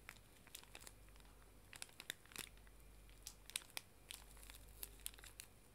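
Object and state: Plastic-wrapped pocket tissue pack, crinkled.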